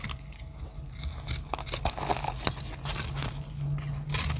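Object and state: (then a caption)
Dry soap bar. A solid teal-and-black chipped dry soap bar is held in the hand and cut with a small metal blade, sending flakes crumbling off. Dry, crunchy scraping and crackling cuts with sharp bright clicks are heard over a steady low hum.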